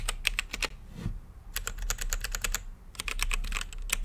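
Fingertips type on an RGB-lit mechanical keyboard with plastic keycaps and a clear acrylic case. Three quick bursts of sharp, bright keystroke clicks are separated by short pauses, over a steady low hum. Each click dies away almost instantly.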